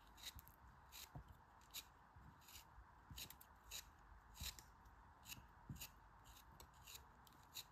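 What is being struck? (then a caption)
Kinetic sand block. A small solid piece of green kinetic sand is held between the fingertips while long red nails press and squeeze it until it crumbles over a pile of broken sand. Soft, bright crumbling and rubbing sounds repeat in a series of short, crisp bursts over a low, steady hiss.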